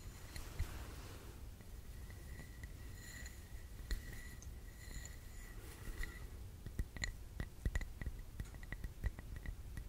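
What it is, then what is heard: Glass candle jar. Long nails tap on the rim and sides of a clear glass candle jar filled with red wax, with the candle lit and the jar held in both hands. Soft, slow taps give short, bright clicks over a steady low hum. Around 2 kHz a thin glassy ring sometimes lingers briefly.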